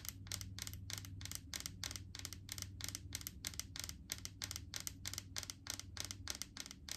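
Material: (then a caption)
Plastic. Long painted fingernails tap rapidly and unevenly on the green plastic lid and the side of a large clear plastic jar full of solid coconut oil. Each tap is a short, dry, bright click with almost no ring, over a steady low hum.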